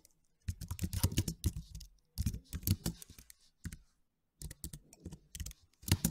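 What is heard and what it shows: Fingertips type rapid key taps on a white and silver slim, low-profile plastic computer keyboard with low plastic keys. Quick bursts of soft, dull, low clicks pile up with brief pauses between runs. Each tap dies away almost instantly.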